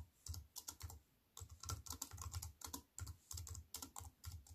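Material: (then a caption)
Aluminium, plastic. Fast two-handed typing with fingertips and long nails on a compact aluminium and plastic wireless keyboard resting on a wooden table. Quick bursts of crisp, bright key clicks over soft low thuds, each dying away almost instantly, with a brief pause near the one-second mark before the typing resumes.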